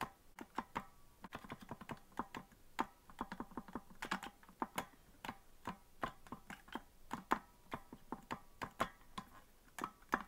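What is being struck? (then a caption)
Plastic melodica keys. Fingertips tap the plastic keys of a green plastic melodica that is hollow and not being blown. The result is a quick, irregular run of short, dry clicks that sound much like typing on a computer keyboard. Each click has a faint tone around 1 kHz and dies away almost instantly at a soft level.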